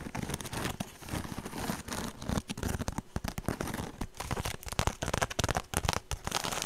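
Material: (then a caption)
Straw. Long nails scratch and tap the rough surface of a small woven straw handbag held close to the microphone. The result is a dense, crackly rustle of quick scratches broken up by sharp, dry taps, with no ringing after each hit.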